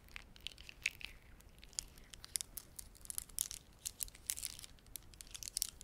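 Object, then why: Plastic beaded ornament. Fingertips press and rub together the beads of a red, dark blue and white plastic beaded ornament held in both hands. This makes a quiet, rapid run of sharp, bright clicks and crinkly ticks with almost no low end. Each click dies away instantly.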